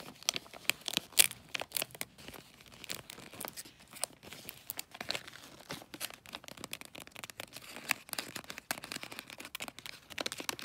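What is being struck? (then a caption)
Glossy paper wrapping on a small gift box. Fingernails scratch and tap the glossy light-blue bulldog-print paper wrapping a small rectangular gift box, working over its folded edges. The result is a quiet, dense stream of bright, crisp crinkles and sharp little ticks with almost no low end. A few louder crackling taps stand out near the start.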